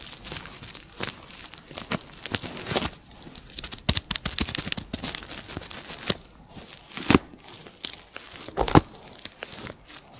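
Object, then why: Plastic bubble wrap. A piece of clear plastic bubble wrap is squeezed and crinkled by fingers and nails. It makes a dense, irregular crinkling rustle with bright crackles and sharp snaps, and the two loudest snaps land near the seven- and nine-second marks.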